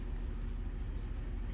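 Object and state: Nothing is struck.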